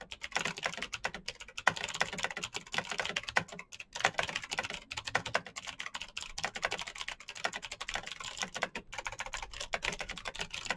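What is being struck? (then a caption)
Plastic mechanical keyboard. Fast fingertip typing on a black plastic mechanical keyboard with backlit keycaps produces a dense, rapid stream of short, bright clicks and clacks. The keystrokes come in quick bursts with brief pauses, each with almost no ring.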